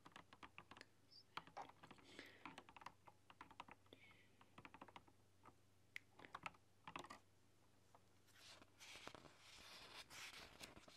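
Someone types on a retro typewriter-style mechanical keyboard with round chrome-rimmed keycaps, using long dark-polished nails and fingertips. Quick, bright clicks come in uneven bursts over a low steady hum. Near the end they give way to a softer, breathy high rustle.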